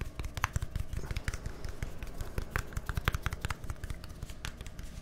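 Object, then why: Plastic deodorant stick container. A small white plastic deodorant stick with a green cap, a hollow container, is held in both hands near microphones and tapped quickly with fingertips and nails. Rapid, dry, hollow taps and sharp clicky nail ticks run continuously, with a low thuddy body and almost no ring after each hit.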